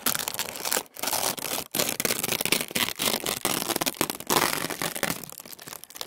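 A large, flat sheet of thin, translucent tissue paper is held in both hands over a wooden table, then pulled and flexed. The result is a soft, continuous rustle with crinkly tearing sounds, bright and mostly high-pitched with little low end. It is broken by a few brief pauses.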